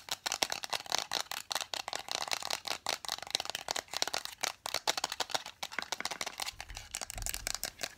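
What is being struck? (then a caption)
Lacquered wooden nesting doll. Long nails tap rapidly on a hollow, hand-painted lacquered wooden nesting doll held upright. The result is a dense, fast stream of bright, dry clicks with almost no ring or low end.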